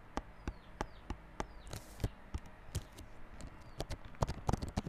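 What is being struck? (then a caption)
Small cardboard box in plastic wrap. Fingertips tap and scratch the wrapped front face of a small yellow cardboard Realme Buds Classic earphone box, lying flat in clear plastic wrap. About eighteen short, dry taps land at an uneven pace, with a brief crinkly scratch of the plastic near the middle and the taps bunching closer together toward the end. Each tap is mostly low and dull, with almost no ring.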